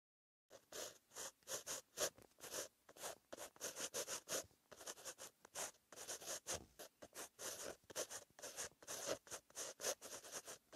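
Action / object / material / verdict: scrape / metal-tipped pen on lined paper notebook page / paper / none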